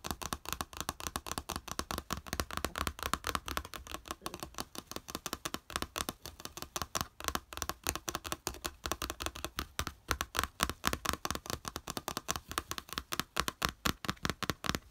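Fingertips and nails rapidly tap and flick the slotted raised edge of a small, flat yellow plastic plate lying on beige fabric. The result is a fast, continuous stream of short, dry plastic clicks and rattles with a bright, mid-high tone around 1.1 kHz. Each click dies away almost instantly.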